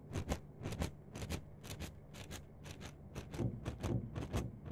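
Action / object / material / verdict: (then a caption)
scrape / plastic mesh net sleeve / plastic / none. Long nails scratch and rub a yellow-green plastic mesh net sleeve stretched flat between fingers, scrunching the mesh. Quick, bright scratchy strokes come in pairs at a steady rhythm of about two per second, over a soft, low, rustling rumble.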